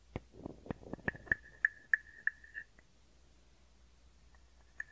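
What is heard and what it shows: A hand-sized hollow carved wooden frog guiro, held in the palm, is scraped along its ridged back and tapped on the body with a wooden stick. Soft raspy scrapes blend with sharp, dry taps that bring out a short hollow tone near 1.7 kHz, ringing steadily through the quick tapping run. The sound then drops to near silence before one last light tap at the end.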